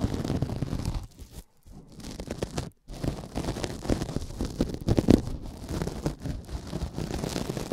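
A rectangular pink synthetic kitchen sponge, porous, soft and solid, is held in both hands right at the microphone while fingertips squeeze and rub it. The result is a dense, low, crackling rustle of many small squishes and scratches, broken by two brief near-silent gaps.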